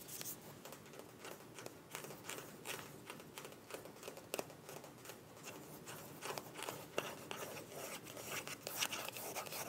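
Long nails scratch along a small, filled white plastic cosmetic tube with a mint cap. The result is a quiet, continuous, irregular scratching and crinkling with bright, hissy edges and scattered sharp little clicks.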